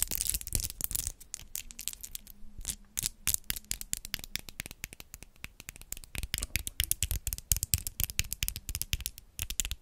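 Long white-tipped acrylic nails set with rhinestone gems are tapped against each other with both hands in front of a microphone. The result is a dense, rapid stream of sharp, bright clicks with almost no ring, some louder and some softer. A faint low steady tone sits underneath in the middle of the clip.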